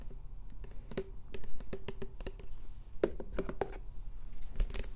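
A medium plastic yogurt tub with a white lid and a blue printed label, likely full and sealed, is held in both hands close to the microphones and scratched and tapped with fingertips and nails. Quick, dry clicks and scratchy taps come in irregular bursts, with a steady low hum underneath.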